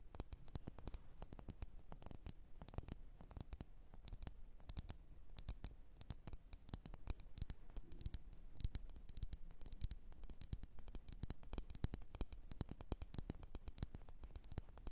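Long nails tap rapidly and continuously on a lit, wax-filled red glass candle jar, producing a dense stream of short, bright clicks over a steady low hum. Each tap dies away almost instantly, with no ringing.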